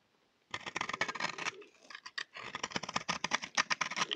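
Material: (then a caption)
Soap. A solid, round, dry teal-and-white soap bar held in the hand is scraped with a utility knife blade into crunchy flakes. After a brief silence, rapid dry, bright scratching and crackling strokes start and run to the end, with a short quieter pause in the middle.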